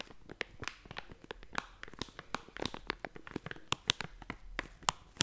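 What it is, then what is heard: Plastic snack bag being crinkled. A hollow blue and yellow plastic/foil snack bag is crinkled and squeezed with fingertips and nails. It gives an irregular run of sharp, bright crackles and crisp snaps over a quiet, close background, each dying away almost instantly.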